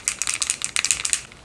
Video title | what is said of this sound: HOW TO WEDDING MAKEUP MASTERCLASS - Lesson 2 The Chic Bride | shake it up really good you can hear the ball in there